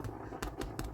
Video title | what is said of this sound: Recipe Time - Amish White Bread | I do believe that sounds nice and Hollow